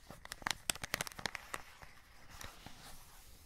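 Fingertips scratch and crinkle the clear plastic window and cardboard edge of a full cardboard chocolate box held close. A rapid, irregular burst of about a dozen sharp, bright crackles and scratches fills the first second and a half. It then thins into softer rustling and faint scratches.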